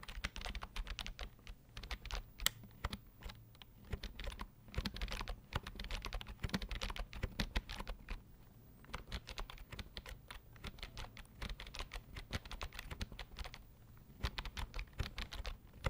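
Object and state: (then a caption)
Plastic computer keyboard being typed on. A slim white plastic keyboard with a hollow body is held upright while fingertips press and tap its keys in a typing motion. The result is a steady stream of quick, dry clicks and soft low thumps that stop almost instantly, with brief lulls near 9 and 14 seconds.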